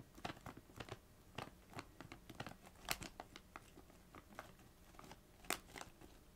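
A small Doritos bag made of metallised plastic film is scratched and tapped with long nails. It gives a quick, irregular series of sharp, bright crinkles and soft taps over a faint rustle. Each crinkle stops almost at once with no ring.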